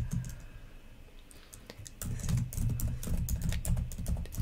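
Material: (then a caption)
Plastic. Long nails type on the plastic keys of a black laptop keyboard, making irregular clicky taps with a low thudding body and bright, sharp clicks. The typing is soft and sparse at first, then turns louder and quicker about halfway through.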